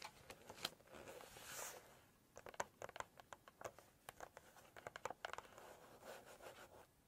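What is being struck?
Glossy paper book pages.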